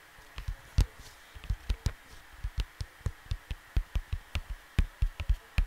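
Fingertips with short nails tap, rub and scratch across a large, flat, square printed cardboard LP cover lying on a desk, probably with a record inside, close to the microphone. About 19 short, dull, low thumps land at an irregular pace, each dying away almost instantly over a faint steady hiss.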